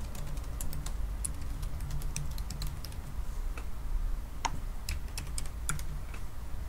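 Fingertips from both hands type continuously on the black plastic keys of a silver aluminium laptop keyboard. Quick, light clicks scatter over a steady low hum, with the sharper taps ringing briefly bright. The result is an unbroken run of soft keyboard tapping.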